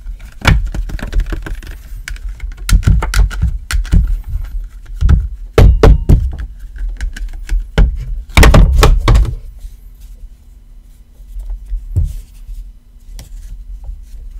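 An iPhone XR in a black rubbery case with a grey fabric card pocket on the back is held in the hand and knocked and tapped with knuckles and fingertips. It makes dull, low thunks in irregular bursts, each dying out almost at once with no ring. The tapping is busiest early on and thins to softer, scattered taps toward the end.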